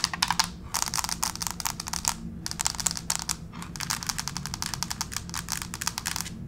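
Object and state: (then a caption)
Laminate floor tapped with fingernails. Long pink fake nails tap and scratch in a scurrying motion across a flat gray, wood-grain plank laminate floor. Rapid, bright clicking ticks come in dense bursts separated by brief pauses, over a faint low rumble, and each click dies out almost instantly.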